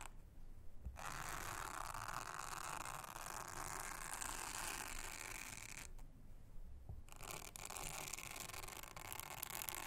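Toothbrush bristles scrub across the honeycomb cells of a thin, solid, round blue silicone honeycomb trivet mat, making a dense, bright, raspy scratching with a fine ratcheting texture. The scrubbing runs for about five seconds, stops for roughly a second with a soft low thump, then resumes steadily to the end.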